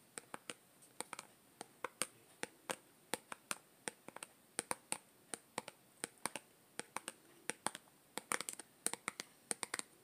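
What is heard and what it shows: A small yellow plastic Play-Doh tub with an orange plastic lid, hollow and apparently closed, is held in the hand and tapped and scratched on its printed side with long green-painted nails. Around forty quick, dry, bright clicks come at an irregular pace, each dying away almost instantly, with soft scratchy rustles between them against a quiet background.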